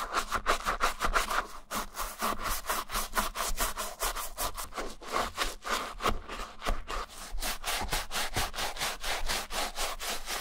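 A wooden-handled bristle brush, held in the hand, scrubs the inside lining and collar of a hollow white Adidas Stan Smith leather sneaker coated in soapy shampoo foam. A quick, steady run of back-and-forth strokes gives a bright, bristly rasp with a soft, wet, foamy swish underneath.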